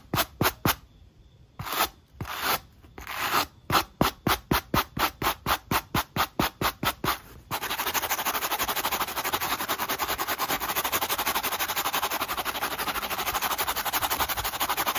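A black textured rubber sneaker outsole, held in the hand, is brushed with a wooden-handled wire brush. Separate bright scratchy strokes start irregularly, then settle into a steady quick rhythm. About halfway through they become a louder, continuous, dense rapid scraping that lasts to the end.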